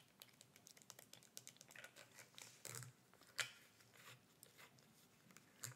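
Long red nails tap and scratch the sides and black screw cap of a small, hollow clear plastic bottle with a gray label, held upright in the hands. A quick, uneven run of crisp, bright clicks mixes with soft scratchy rustling, and a louder sharp tap lands midway and another at the end.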